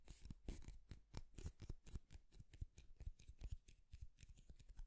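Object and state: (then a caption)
Wooden comb, teeth scratched. A light wooden comb is held horizontally while fingernails drag quickly along its row of teeth. The result is a rapid, strumming scratch of short, bright clicks with soft low thumps underneath.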